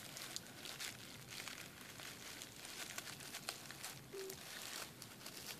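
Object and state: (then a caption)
Plastic bubble wrap sheet. Fingertips and nails tap and scratch across a clear plastic bubble wrap sheet lying flat on a desk. The result is a quiet, steady, bright crinkling texture scattered with short, sharp clicks.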